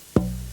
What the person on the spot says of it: lowest fundamental tone of the wood now and I listen for how long it rings